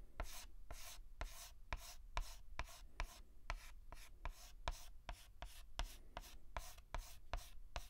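A white chalk stick is rubbed in quick hatching strokes across a large flat blackboard. About twenty strokes are heard, each starting with a sharp tap and trailing into a bright, dry scratch, in a steady back-and-forth rhythm over a low background rumble.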